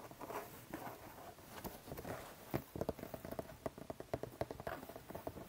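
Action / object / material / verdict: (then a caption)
tap / cardboard box / cardboard / none. Fingertips and nails tap and scratch the top of a medium-size, hollow, printed cardboard toy box lying in front of the mic. Soft, papery scratching and rustling fills the first half, then gives way to a quick run of crisp, hollow taps with a short, dull midrange knock that dies away almost at once.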